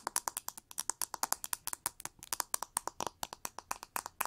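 Long nails strum and scratch across the pin bristles of a pink plastic oval paddle hair brush with a cushioned pin bed. About 34 quick, dry, bright plucking clicks come in a rapid, uneven stream, each with a faint tone near 1 kHz. They die away almost instantly and have almost no low end.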